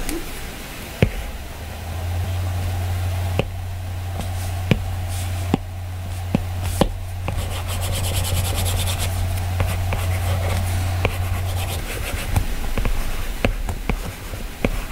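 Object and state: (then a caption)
Stylus sketching on a glass tablet screen. A plastic-tipped Apple Pencil strokes and scratches across the glass touchscreen of an iPad lying flat, possibly under a screen protector, while sketching. Soft, hissy rubbing strokes are punctuated by repeated short, sharp taps of the tip on the glass. A steady low hum runs underneath for most of the clip.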